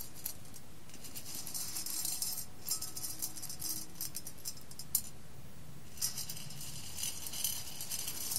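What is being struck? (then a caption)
Roasted coffee beans in a glass bowl. Roasted coffee beans in a clear glass bowl are picked up and stirred by fingers with long red nails. They make a close, bright rattling and clinking against the glass, in bursts with a few sharper clicks and quiet pauses between.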